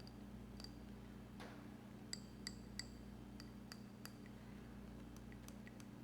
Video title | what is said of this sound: Grounding Technique using Orange Juice | i can tap my nails on the glass and i can hear a bit of a ting from it